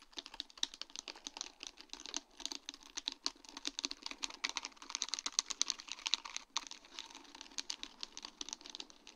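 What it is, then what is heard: Acrylic rhinestone sheet tapped with nails. Long dark-painted nails tap rapidly on a sheet of large round faceted acrylic rhinestones set on a plastic mesh backing. A dense, continuous patter of short, dry, bright clicks with almost no ring and very little low end, steady throughout with slight swells in intensity.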